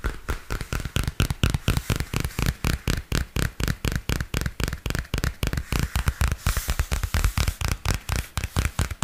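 A small purple spiral-bound paper notebook with a glossy card cover is held upright while fingernails tap and scratch across its cover. About 45 rapid, dry, short taps follow in an uneven rhythm, each with a soft low thump and a little bright scratchy texture that dies away instantly.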